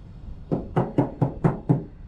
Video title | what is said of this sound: #2, Виброизоляция в автодом, как правильно клеить и какую выбрать | слышите да какой звонкий звук в этом месте